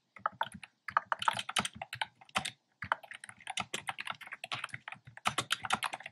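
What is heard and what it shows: Fingertips type steadily on a black plastic keyboard with hollow, round, retro-style pastel keycaps. The result is a quick stream of short, dry, bright clicks and clacks, broken by brief pauses.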